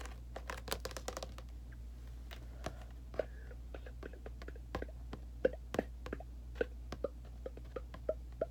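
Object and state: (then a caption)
Thin perforated sheet-metal panel. Fingernails tap and scratch quickly on a thin, light grey-blue corrugated sheet-metal panel with round holes. About thirty short, irregular, hollow-sounding clicks ring briefly around 500 Hz. A steady low hum sits underneath.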